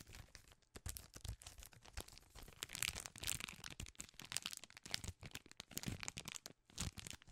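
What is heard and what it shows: A full Crunch 4-piece candy bar in its plastic film wrapper is crinkled and scratched with long nails. Dense, bright crackling and sharp crinkles come in quick, uneven bursts with brief pauses, each sound dying almost instantly.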